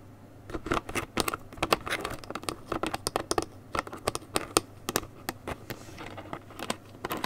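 Long nails tap and scratch the sides and orange plastic cap of a gable-top paperboard juice carton held close while it is turned in the hands. A quick, uneven series of sharp, dry clicks and brief crinkly scrapes follows, each with a bright edge and almost no ring, over a faint low hum.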